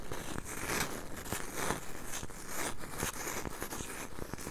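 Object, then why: Cork coaster. Long nails tap and scratch the surface of a round, solid, palm-sized cork coaster held right next to a mini microphone. The result is a dense, continuous scratchy rustle with soft, low, close-up thumps and sharp little ticks scattered throughout.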